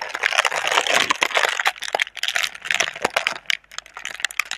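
Long red nails scratch and crinkle the thin film of a clear, hollow, soft plastic air-cushion tube (air pillow packaging) held between both hands. The sound is a dense, bright crackling rustle for the first two seconds, then thins into quieter, scattered sharp plastic ticks and crinkles with no low end.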